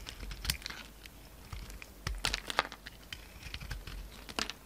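A hand-sized solid lilac soap bar with glitter edges, held in the palm, is shaved and scraped with a utility knife blade. Quick, dry, bright scraping and crackling strokes sound in an irregular run, and flakes fall off the bar.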